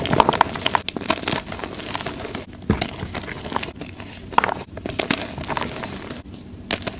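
Fingertips squeeze and crumble broken pieces of soft, plain white gym chalk blocks (magnesium carbonate), solid and crumbly, held over a pile of chalk chunks and powder. The result is dense, crisp crunching and crackling with quick dry snaps and a few brief squeaky notes near 1 kHz, each stopping almost instantly as the chalk breaks down into powder.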